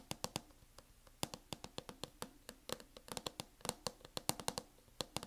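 Long acrylic nails on both hands tap fast on a closed MacBook in a mint matte plastic hard-shell case. About 29 sharp, bright clicks land in an uneven quick rhythm, each dying away almost instantly, over a faint low hum.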